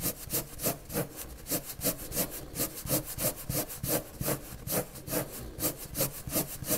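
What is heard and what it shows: A hand draws with a white and purple colored pencil on a large, flat sheet of white drawing paper resting on a table. Quick rubbing and scratching strokes repeat at roughly three per second, each a bright, papery scrape over a soft low rustle.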